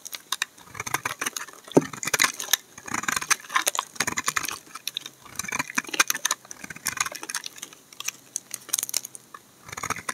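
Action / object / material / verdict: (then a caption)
scrape / bar of laundry soap shaved with a knife blade / soap / none. A utility knife blade repeatedly shaves the edge of a solid bar of amber laundry soap held upright. The result is a dense series of quick, crisp, bright scraping and crackling strokes. Each stroke dies away almost at once, with short pauses between bursts.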